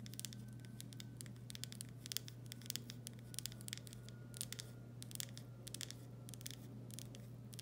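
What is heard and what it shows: A full glass pickle jar with a paper label, held in both hands, is tapped and scratched on its body by long nails. Quick, crisp clicks and light scratches come in an irregular patter over a steady low hum. The taps are sharp and bright, with almost no ring.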